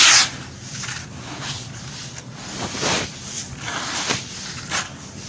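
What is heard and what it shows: Bare fingertips and a palm dig into coarse, damp tan sand filling a white plastic bucket, squeezing the wet clumps until they crumble and rub apart. The result is a bright, gritty, crunchy rustle that opens with a loud burst, then swells and fades in uneven waves of scraping grit.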